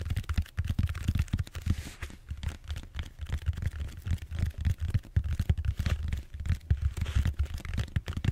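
Fingertips tap across the surface of a large purple bead-foam styrofoam roller held horizontally, in a quick typing-like rhythm. The result is a steady stream of soft, dull, low thuds with almost no ring, each tap dying out instantly, with a faint brushing scratch between them.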